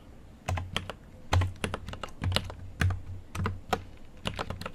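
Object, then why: Mechanical keyboard with plastic keycaps. Fast typing with both hands' fingertips on a full-size GMMK Pro mechanical keyboard, with an aluminum case and pastel plastic keycaps, resting on a desk. Quick, irregular taps each give a sharp, bright click over a deep, thocky low-end body. The keystrokes ring only briefly between strokes.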